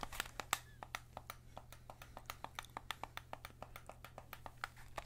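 Fingertips press the triggers and buttons and tap the hollow plastic body of a white PS5 DualSense controller, giving about thirty short, dry, bright clicks and taps in quick, uneven succession. A steady low hum sits beneath the clicks.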